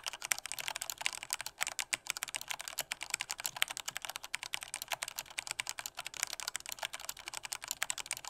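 Fingertips type with strong force on a black plastic Corsair K68 mechanical keyboard with red switches. A rapid, steady stream of bright, sharp plastic clacks follows, each keystroke short and dry with almost no low end or ring.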